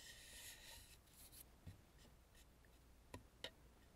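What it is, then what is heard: Carved wooden mask scratched. Long nails scratch and rub across the painted cheeks, nose and forehead of a hollow carved wooden mask lying face up, making a bright, hissy scraping for the first second or so. The rubbing then fades to a quieter, drier rasp, broken by a few short, sharp taps with a low knock that die away almost instantly.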